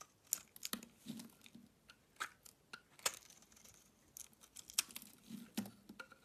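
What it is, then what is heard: Soap bar being shaved. A box cutter blade shaves flakes off a solid pink-layered oval soap bar, making quiet, bright, crisp scraping and crackling sounds. Many short sharp cuts come in irregular bursts, with faint low thuds as flakes drop away.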